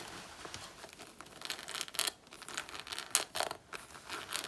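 Long natural nails scratch and claw across the front panel of a black faux leather jacket worn on the body, where a patch of the surface is peeling. The result is a series of quiet, bright, dry scratching and crinkling bursts with a tearing texture, almost no low end, and short pauses between strokes.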